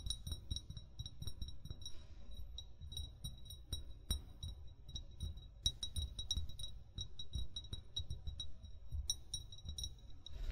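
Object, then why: Amber glass bottle. An upright, hollow amber (brown) glass bottle, its fill level not visible, is tapped rapidly with short fingernails and fingertips. The result is a dense run of quick clinks, each with a short, bright glassy ring near 3.8 kHz and higher overtones, over a steady low, dull thudding.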